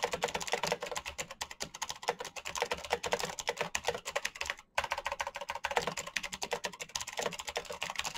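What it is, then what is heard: Plastic mechanical keyboard. Fingertips type rapidly on a black plastic mechanical keyboard with RGB backlit keycaps and clicky switches, producing a dense stream of sharp, bright clicks with short, dry decay. The typing pauses briefly just before the five-second mark, then resumes at the same quick pace.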